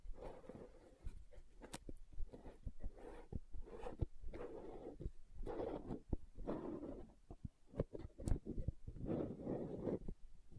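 Long nails tap along the side wall of a green plastic aloe gel tub held on its side, giving quick, dull clicks over a low, soft rustle. The taps are short and dry, with little ring after each one.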